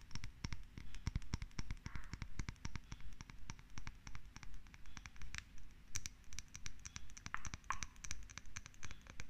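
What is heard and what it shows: Long red acrylic nails tap and scratch the side and rim of a small, hollow, lidless cylindrical glass jar with a bluish tint, held in both hands. Rapid, clicky nail taps come in uneven bursts, with faint scratching between them. Each tap is short and dry, with only a brief glassy ring.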